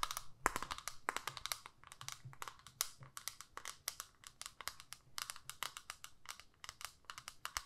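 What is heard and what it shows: Long nails tap and scratch the clear plastic lid of a small flat plastic eyeshadow palette holding pink and brown shades. A rapid, uneven run of quiet, sharp, dry clicks with a bright edge and a tone near 1 kHz, with soft scratchy rustling between them. Each click dies away almost at once.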